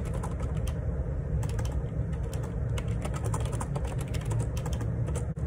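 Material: Plastic.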